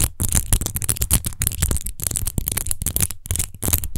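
Long nails scratch fast over the rose-textured base of a large, hollow, clear glass rose-shaped wine bottle that appears empty. The result is a dense run of rapid, crackly scratching bursts with a bright, hissy edge over a low, hollow rumble, broken by a few brief pauses.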